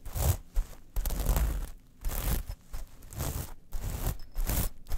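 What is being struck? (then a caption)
Small metal mesh pouch. Long nails scratch a small metal mesh clutch pouch lying flat, which is turned over to its black side at the end. Bursts of dry, gritty scraping carry a bright hiss over a low rumble, with short pauses between strokes and no ringing afterward.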